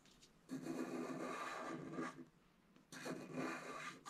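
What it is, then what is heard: Scratch art card being scratched. A wooden stylus scratches the left squirrel area of a flat scratch art card (black-coated paper over metallic foil) with dense back-and-forth strokes. Two bursts of raspy, scraping friction are heard, with a brief quieter pause between them. The scratching is full in the mid-range and carries a bright, hissy edge.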